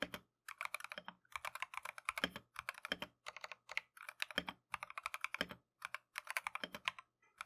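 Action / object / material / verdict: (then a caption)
tap / mechanical keyboard with plastic keycaps / plastic / none. A Keychron V1 compact mechanical keyboard with Tangerine switches and green and white plastic Matcha keycaps is typed on continuously with gloved fingertips. Quick, bright, crisp clacks come in rapid bursts separated by brief pauses, with very little low end and almost no ring after each keystroke.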